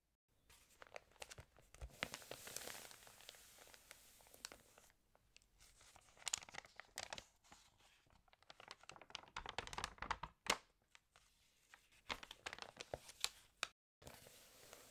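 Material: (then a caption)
Glossy paper. Fingertips rub the pages of an open, water-damaged glossy-paper magazine and flip one over, including a thicker glossy insert page. Quiet, bright crinkling and rustling come in bursts of short, crisp snaps with very little low end, separated by brief near-silent pauses.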